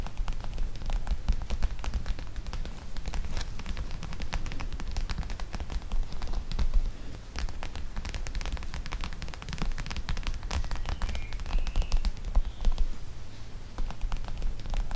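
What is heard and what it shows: A flat, clear plastic pouch of teal gel beads lies on the microphone and is scratched with long nails. The result is a continuous, dense crackle of rapid scratches over a heavy low rumble, with brief bright clicks throughout.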